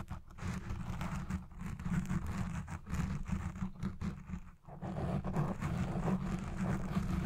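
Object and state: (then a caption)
Foam microphone windscreen being scratched. Red nails scratch the sides and top of a black foam windscreen on a recording Blue Yeti Pro microphone. The result is a dense, muffled, rumbling scratching concentrated in the low end with little brightness, briefly easing around the middle before resuming.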